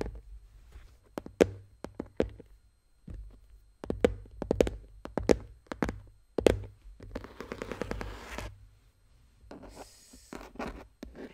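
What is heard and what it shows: A closed, hollow dark blue Spacemaker pencil case, likely hard plastic with a studded lid, lies flat and is tapped and scratched with the long painted fingernails of both hands. Sharp, dry clicks come in irregular bursts, with brief rustling scratches over the lid in the later seconds and a faint low hum underneath.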